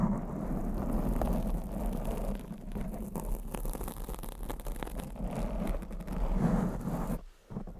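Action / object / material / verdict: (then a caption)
scrape / foam microphone windscreen / foam / none. Long acrylic nails scratch across a black foam windscreen on a condenser microphone, producing a dense, muffled, rumbling rustle concentrated in the low end. The scratching runs almost continuously, swelling and easing in texture, then briefly drops away just past the seven-second mark before resuming faintly.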